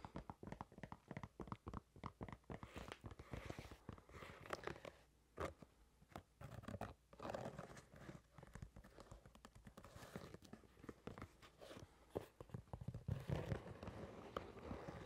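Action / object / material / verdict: tap / leather shoe / leather / none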